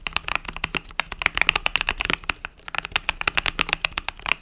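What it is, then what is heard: Mechanical keyboard being typed on. Fingertips type rapidly on the plastic keys of a compact mechanical keyboard with pastel purple-yellow plastic keycaps. The result is a dense run of short, bright clicks and clacks with almost no ring, and a small break in the middle.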